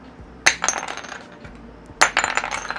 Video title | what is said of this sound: FIRMWARING MY CHUBE ON A CHEEEEEEEWBSDAY! #livestream #3dprinting | Like it sounds like metal. I love it. or like a ceramic.